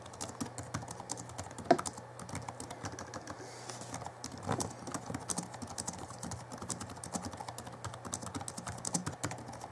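Fingertips of both hands type fast on the backlit plastic keys of a small Alienware M11x2 laptop from 2011. The result is a dense, continuous patter of short, dry clicks over a steady low hum, with one sharper, louder click near the start.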